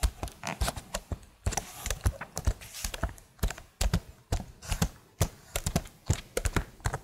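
Long nails tap rapidly and unevenly on the keys of a plastic laptop keyboard held right beside the microphone. Each tap is a short, dry click with a soft low thump and a bright edge, dying away almost at once. The taps come in quick bursts separated by brief pauses.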